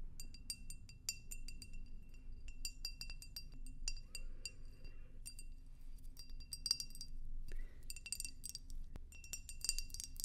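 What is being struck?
Tall clear glass vase.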